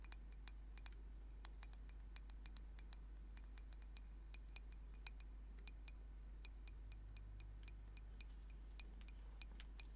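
A small, solid, turned wooden singing bowl mallet is held in the hands while fingernails tap it rapidly. Quick, dry clicking ticks ring out with a bright tone near 2.5 kHz, over a steady low hum.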